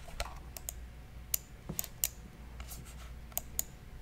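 Fingertips click the buttons of a black, hollow, hand-sized wired plastic computer mouse held in one hand beside the microphone. A series of short, sharp, bright clicks comes at uneven intervals, each dying away almost instantly over a steady low hum.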